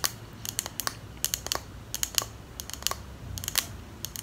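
Long nails tap rapidly on the glass sides of a small clear glass perfume bottle with a pink plastic cap. About nineteen short, bright, keyboard-like clicks come in uneven bursts, each dying away almost instantly over a faint low background rumble.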